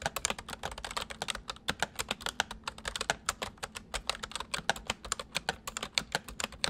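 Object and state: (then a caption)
Plastic mechanical computer keyboard. Fingertips of both hands type rapidly on a white, full-size plastic mechanical computer keyboard. Dozens of sharp, bright clicks come in a fast, uneven stream, each dying away almost instantly, over a faint low hum.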